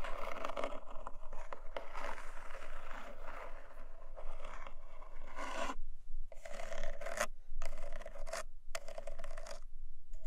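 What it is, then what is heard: Cardboard box, scratched. Long nails scratch and tap the textured lid of a small, long black cardboard jewelry gift box, closed and resting on a fluffy blanket. Dense, dry scraping rasps run almost continuously, broken by short gaps near the middle and end, over a steady low rumble.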